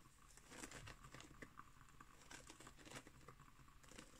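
Long nails scratch along the weave of a round, flat, coiled woven straw placemat lying on a wooden table. The result is a quiet, dry, crinkly rasping with bright scratchy bursts over a soft low rumble.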